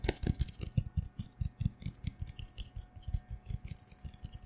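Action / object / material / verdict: scrape / cardboard tube / cardboard / none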